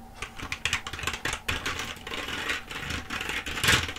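Long acrylic nails tap and press the keys of a black plastic computer keyboard held upright, with some sweeping and rubbing hand motion over the keys. The result is a quick, bright run of clicky plastic taps mixed with soft scratchy rubbing.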